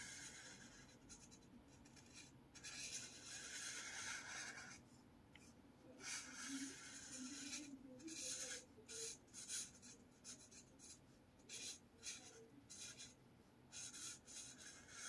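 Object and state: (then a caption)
Marker scratching on a paper notepad. A blue marker draws short strokes across a lined paper spiral notepad resting on a table, scratching the paper surface. The result is a series of bright, dry scratching bursts with brief pauses between them, starting as a steadier rub and breaking into quicker separate strokes.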